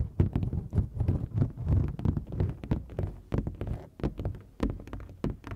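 Long nails tap rapidly across the face of a large, flat printed foam board sign. The taps land as quick, irregular, dull low thuds with very short decay, a little under three per second. There is no high ring or sharp click.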